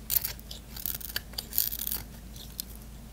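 A small blade shaves crunchy curls along the edge of a solid white bar of soap held in the hand. Bursts of bright, dry scraping and cutting crackle over a low steady hum, with the loudest clusters near the start and in the middle.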